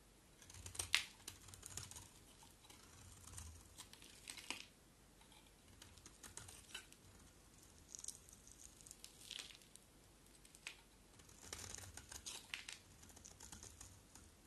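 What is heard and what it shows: A utility knife blade scrapes repeatedly across a small solid white bar of soap with a dark outer layer. The sound is quiet, crisp and bright, coming as clusters of short, dry scraping strokes with little low end and almost no ring.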